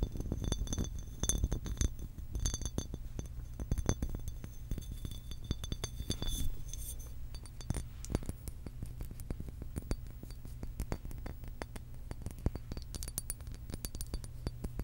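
Long acrylic nails tap and clink rapidly on a medium cobalt blue glass water bottle with a printed label and a blue cap. The quick, bright glassy clicks fade almost instantly. A steady low hum runs underneath throughout.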